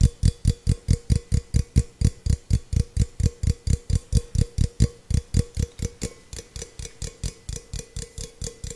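Fingertips and nails tap a small, hollow, empty stainless steel tumbler in a quick, steady rhythm of about 38 distinct taps. Each tap is a short, dull low thud with a faint tonal ring and a light bright click on top. The taps grow slightly softer in the second half.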